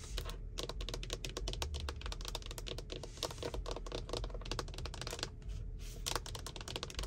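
Long white-tipped nails tap and scratch on a car steering wheel's centre airbag cover, a large hollow moulded plastic panel with a matte textured finish. The result is a dense run of quick, dry, clicky taps with short scratchy strokes, over a steady low rumble and a faint constant tone, with a movie playing on the dashboard screen.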